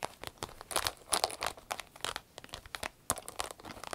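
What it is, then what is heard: Vinyl zip pouch being crinkled and scratched. An empty, medium green striped vinyl zip pouch is squeezed, crinkled and scratched with long nails. The result is a rapid, uneven run of dry, bright crinkles and scratchy crackles with almost no low end and no ring after each burst.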